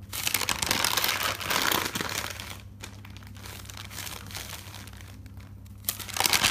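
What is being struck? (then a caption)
Thick paper notebook. Fingers with long dark nails grab and flip several white pages of a thick paper notebook, making a bright, crinkly rustle. The rustling is loudest at the start, softens to a quieter shuffle through the middle, and flares up again in a crisp burst at the end, over a faint steady low hum.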